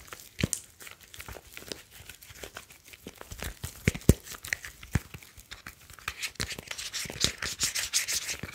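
A grey metal smartphone with a glass screen and metal back is held by its edges while fingertips rub along its sides and back. Dense, dry scratchy rubbing is heard, dotted with many quick soft clicks and taps. The friction turns brighter and hissier toward the end.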